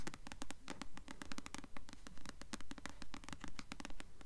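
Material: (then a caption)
Paper. Long nails scratch and tap the glossy paper cover of a blue paperback copy of the novel *Delirium*, held upright. A quick, steady run of crisp, bright clicks and scratchy strokes repeats about twice a second over a low, constant hum.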